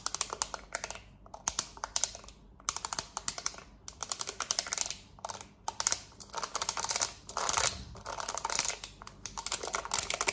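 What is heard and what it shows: A black plastic TV remote with rubber buttons, held in one hand, is tapped rapidly on its buttons with long nails. The result is dense bursts of quick, bright clicking with sharp attacks, almost no low end, and very short decay, broken by brief pauses.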